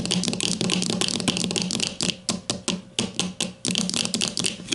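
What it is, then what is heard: Plastic deodorant stick tapped with fingernails. Long nails on both hands rapidly tap the plastic casing of a grey plastic deodorant stick lying flat. A dense stream of bright, dry plastic clicks rides over a hollow low knock. After about two seconds the tapping breaks into separate quick bursts, each fading briefly before the next.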